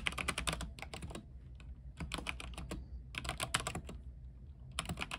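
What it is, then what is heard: Mechanical keyboard being typed on. Both hands type fast with their fingertips on a full-size RGB-backlit mechanical keyboard with white plastic keycaps on a silver aluminium frame, resting on a desk. Rapid bursts of bright, crisp key clacks come in quick runs, broken by brief quieter pauses, each tap short and dry over a low thudding undertone.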